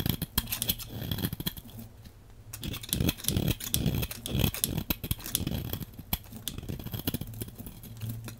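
A metal blade scrapes a solid, hand-sized dark brown-black bar of soap into crumbly flakes. The sound is a dense series of short, dry scratching and crackling strokes with a low, muffled body and bright, gritty edges, coming in uneven bursts with brief quieter pauses.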